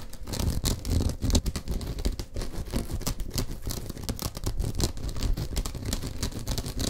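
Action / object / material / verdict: scrape / rolled woven straw or rattan mat / straw / none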